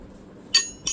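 A child's photo-printed water bottle is tapped twice with a knife to show it is pure steel. Each tap gives a bright, high metallic clink that rings briefly, confirming a solid steel bottle.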